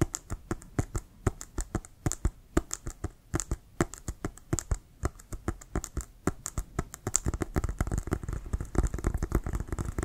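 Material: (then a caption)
Synthetic leather. Fingertips and nails tap quickly across the surface and laces of an inflated brown Wilson composite synthetic-leather American football held horizontally. Each dry, short tap pairs a dull low thump with a bright click and dies away at once. The tapping grows faster and denser toward the end.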